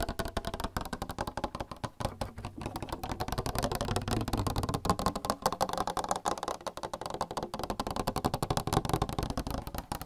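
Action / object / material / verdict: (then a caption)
tap / plastic water cooler / plastic / none. A plastic water cooler is tapped in a fast, continuous stream of short, dry taps for about ten seconds. The hits carry a low, hollow body around 117 Hz and die away almost instantly, so they run together rather than ringing.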